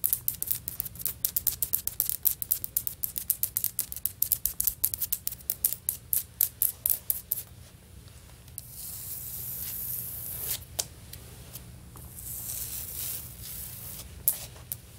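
Long natural fingernails of both hands tap quickly on a large flat beige stone-pattern tile floor with grout lines, probably vinyl or ceramic, producing a rapid run of short, bright clicks for about the first seven seconds. After a short pause, the nails scratch across the solid surface in a steady, high hissing rasp broken by a few sharp taps, all over a faint low hum.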